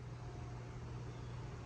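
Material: Nothing is struck.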